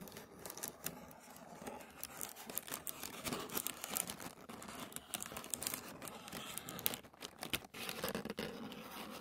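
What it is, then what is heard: Thin tissue paper. Fingertips and short nails scratch a sheet of thin white tissue paper lying flat on a wooden table. The result is a continuous, dry crinkling and rustling made of rapid, closely packed scratchy strokes. The sound is bright and airy with little low end, and it swells and dips slightly as the strokes continue.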